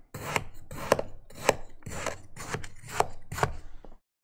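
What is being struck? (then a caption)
Kinetic sand cut with a plastic knife on a plastic board. An orange plastic knife held in the fingers repeatedly cuts and scores a flat patty of grey kinetic sand resting on a green plastic cutting board, forming a crosshatch pattern. Each stroke makes a gritty, crunchy scrape with sharp, dry clicks as the blade strikes the board. The scraping runs almost continuously, then stops briefly before one last click.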